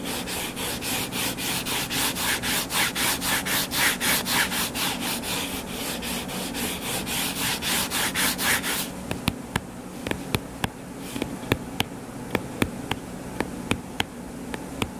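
Short fingernails scratch the cover of a closed hardcover paper book lying flat, making a steady run of bright, rhythmic rasping strokes for about nine seconds. The scratching then quiets to a soft hiss broken by sharp, dry taps on the cover.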